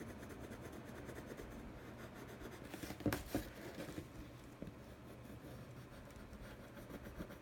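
A blue colored pencil tip, held by hand, rubs and scratches across the inside of a large, hollow, empty teal printed cardboard box lid in continuous coloring strokes. The result is a soft, steady, papery scratching texture, mostly low and midrange with little brightness, with two louder scratchy bursts around the three-second mark.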